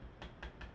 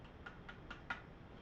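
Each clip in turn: First: soft nylon rifle stock. Second: stiff, hard polymer rifle stock.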